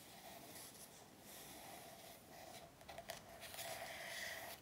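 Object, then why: Paperback workbook with glossy card cover. Long nails on both hands tap and scratch across the glossy front cover of an A4 paperback workbook lying flat on a table. The sound is a soft, continuous scratchy rustle with a faint tone near 700 Hz, broken by a few sharper, crisp taps around the three-second mark. It stays quiet throughout and fades slightly at the end.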